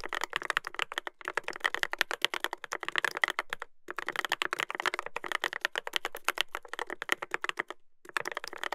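Fingertips type continuously on a Dolphin 2021 mechanical keyboard with a brass plate and plastic keycaps. The rapid, crisp clacks centre around 2 kHz with bright edges, little low end, and almost no ring. The typing runs in bursts separated by brief pauses.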